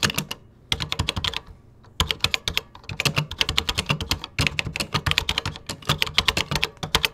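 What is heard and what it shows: Fingertips type in quick bursts on a 1980s-era vintage computer keyboard with cream plastic keycaps, with brief pauses between runs. Each keystroke gives a short, bright plastic click over a soft low thump, and the clicks die away almost instantly.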